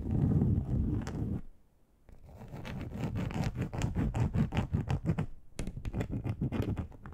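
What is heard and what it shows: Long acrylic nails scratch the textured surface of a large, flat grey plastic board, a solid thin sheet. A dense, low, rough scrape runs for over a second and falls to near-silence. It then gives way to quick, uneven strokes of dry scratching, with a brief pause near the end before the strokes resume.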